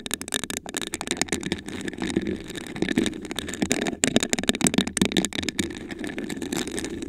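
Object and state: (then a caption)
Textured glass vase. Long acrylic nails scratch and tap rapidly across a tall, hollow, iridescent glass vase with a raised honeycomb pattern, apparently empty and held in both hands. The result is a dense run of sharp, bright clicks over a scratchy rasp, with a low glassy body around 240 Hz and almost no ring after each tap.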